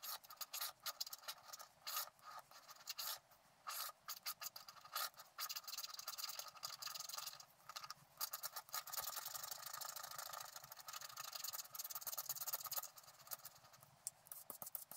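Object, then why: Black-coated scratch-art paper card. A wooden stylus scratches the tree area near the top of a flat scratch-art card made of black-coated paper. The result is a dry, bright, hissing scrape in many short strokes, some in quick bursts and some in longer continuous passes. Nothing rings after each stroke, and there is no low end.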